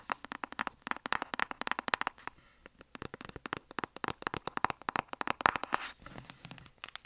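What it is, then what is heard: Cardboard box tapped with nails. Long nails tap rapidly on a closed, flat, rectangular black cardboard lipstick palette box held upright. Dozens of quick, dry, clicky taps with no ring are bright in the midrange, with a brief lull partway through before the tapping resumes.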